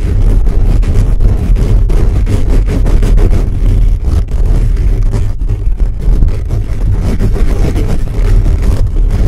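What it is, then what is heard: Metal mesh microphone grille being scratched. Both hands scratch fast at a hollow black metal mesh microphone grille with fingertips and nails. The result is a loud, continuous, rumbling scrape that is almost entirely low frequency, centered around 70 Hz, with dense rough texture and only brief dips in level.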